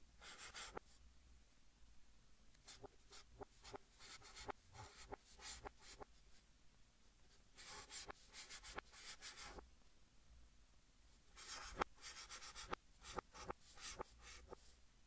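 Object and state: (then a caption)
Chalk writing on a chalkboard. White chalk held in the fingers writes strokes across a large, flat green chalkboard in a wooden frame, with the audio played in reverse. Bursts of bright, scratchy, broadband strokes alternate with sharp, quick taps and clicks that stop dead without ringing, over a faint low hum in the quiet gaps.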